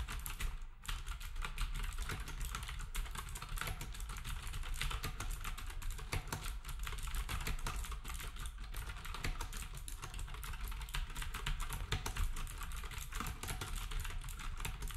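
Fingertips of both hands type rapidly on a black wireless typewriter-style keyboard with round plastic keycaps and a hollow housing. The sound is a steady, dense stream of clicky key taps over a low hum, with bright clatter on top and no pauses across the clip.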